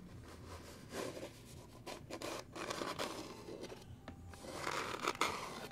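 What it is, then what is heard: Small wooden box. Fingernails tap and scratch the top and sides of a small, hollow, light-wood box with a metal latch, held in the hands. Soft, dry scratching and scraping mix with light taps in a continuous, close-up texture, with a hollow tone around 1.3 kHz and a bright edge. The sound swells with a few sharper taps near the end.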